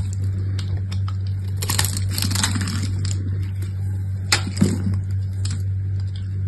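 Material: Soap.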